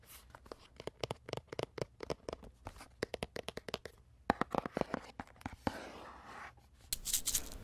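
Fingertips and nails tap and scratch the surface of a small, empty, hollow pink cardboard box with a cherry-blossom print and a plastic flower ornament, held in both hands. A rapid run of short, dry, hollow taps with quick decay gives way to a steady scratching rasp, then bright, crinkly scraping at the end.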